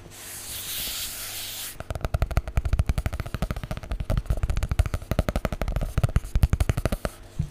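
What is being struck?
Cloth-covered hardcover book.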